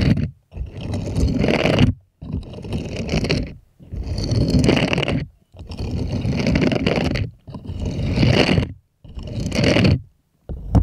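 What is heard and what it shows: Small plastic toy hands rub and scratch across the bristled palm of a purple silicone cleaning glove with bristle nubs, held upright and empty. About eight dense, rustling scraping bursts of one to two seconds each are separated by brief silences, with a low, grainy body and a faint bright hiss.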